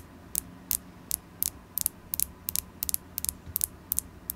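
A carnelian crystal stone is tapped repeatedly, giving a steady series of short, sharp, bright clicks, some landing in quick pairs. Each tap dies away almost instantly over a faint low background hum.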